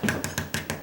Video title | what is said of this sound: Condo/Home Renovation Ideas Made Easy/Part 12 | It's kind of like a heavy plastic or metal something.